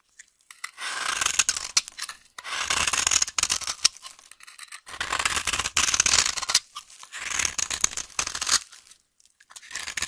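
A knife blade scrapes along the edge of a solid, dry yellow vintage soap bar held in the hand, cutting it in crumbly, rasping strokes. The strokes come in repeated bursts separated by brief pauses, each a bright, gritty scratching with almost no low end.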